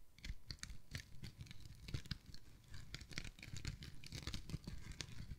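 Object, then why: Foam kitchen sponge. A yellow and cream foam kitchen sponge held in the hand is squeezed and scratched with the fingertips and nails. This gives quiet, irregular crinkly and scratchy foam sounds: bright crackles layered over soft, low squishing thumps that come in quick, uneven bursts throughout.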